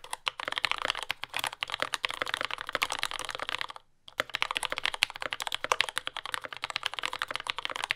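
A compact J-01 mechanical keyboard with lubed yellow Gateron Ink switches, dark brown plastic keycaps and a carbon fiber plate is typed on continuously with the fingertips of both hands while resting on a desk mat. Rapid, crisp, bright clacks follow one another closely, each dying away almost instantly, with a brief pause near the middle before the typing resumes.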